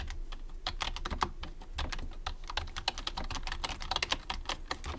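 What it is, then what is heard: Plastic computer keyboard being typed on. Fast fingertip typing with both hands on a white plastic computer keyboard produces a rapid, continuous stream of short, bright plastic clicks and taps. Each keystroke dies away almost instantly, and the clicks sit over a soft low thump from the keys bottoming out.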